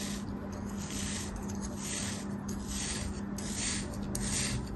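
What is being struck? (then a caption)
Kinetic sand mold cut with a thin metal blade. A thin metal blade makes repeated parallel slicing and scraping cuts through a small, solid purple kinetic sand mold held in the hand. The sound is a steady, soft, gritty rasp with bright hissy swells as each stroke drags through the sand, over a constant low hum.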